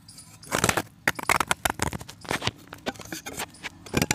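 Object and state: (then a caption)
Pressed chalk disc being scraped. A solid white pressed chalk disc is held in the fingers and cut and scraped with a box-cutter blade. It makes a rapid series of dry, crisp crunching and scraping bursts, bright and gritty, with no ring after each stroke.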